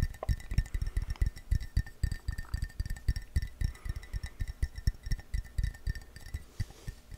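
A hollow, empty-looking blue glazed ceramic coffee mug, held in the hand, is tapped quickly with fingertips and nails on its outside and rim. The result is a fast, uneven run of short, dull knocks with deep low thumps and a faint, brief clinking ring above them.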